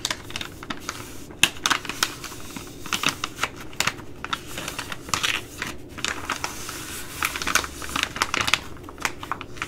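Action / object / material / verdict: scrape / plastic laminate food pouch / plastic laminate / none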